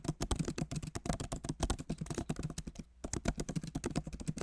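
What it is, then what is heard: Laptop keyboard being typed on. Both hands type rapidly with their fingertips on a backlit MacBook Pro Magic Keyboard, which has plastic keycaps in an aluminum body. A fast stream of short, dry key taps with a soft low thud is heard, broken by one brief pause just before the three-second mark, before the typing picks back up.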